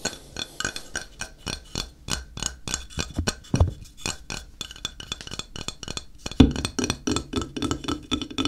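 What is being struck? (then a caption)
Flat ceramic tile. A flat, square, solid grey ceramic tile, held in the hand, is tapped on its face with the fingertips in a quick, steady run of light taps. Each tap gives a short, dry click that dies away almost at once, with a low body near 270 Hz and a faint bright edge. A louder, fuller tap lands about two-thirds of the way through before the light tapping carries on.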